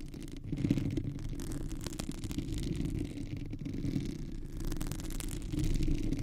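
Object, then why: Textured silicone microphone cover. A white, textured, perforated silicone microphone cover is scratched and tapped with long manicured nails of both hands. A dense, continuous rubbery scratching and rattling is heard, dark and muffled with most of its energy in the low range and only faint high texture. It swells in the first second and grows louder again near the end.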